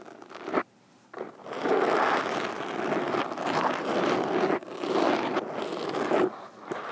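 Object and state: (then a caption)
Foam microphone windscreen scratched with metal fingerpicks. Metal fingerpicks scratch and tap across a black foam windscreen over a microphone. The result is a dense, crackling, rustling scrape centred in the midrange with almost no low end, running in long rough bursts broken by a near-silent gap early on and a few brief dips.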